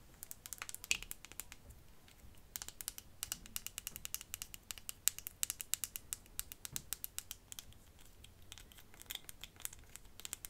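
A small glass perfume bottle with a faceted cap is held close and tapped with long fingernails, mostly on the cap. The result is a quiet, rapid run of sharp, bright clicks with almost no ring, spread across the whole clip.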